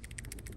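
A badly failed steel hydraulic roller lifter, with its roller pitted and eaten away, from a GM 6.2L/5.3L V8 with AFM/DOD (Yukon, Tahoe, Silverado, Sierra, Escalade) is shaken by hand. It gives a quick series of loose, maraca-like metallic rattles with bright high-frequency clicks over a low rumble. The lifter is judged completely bad.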